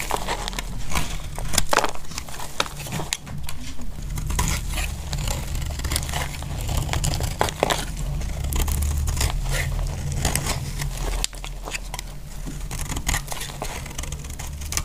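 A utility-knife blade shaves thin curled flakes from a solid piece of dry pink bar soap held in the hand. The result is a steady, dry scraping and crinkling with dense crackly clicks over a heavy low rumble. The sound dips briefly partway through before resuming.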